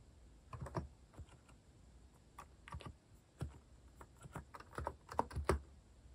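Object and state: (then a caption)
Plastic mechanical keyboard typing. Fingertips type quickly on a compact, white-cased Hanmumu mechanical keyboard with plastic cat-themed keycaps. Dry, short clacks with a low, thocky body come in uneven bursts separated by brief pauses, and each keystroke dies away almost at once.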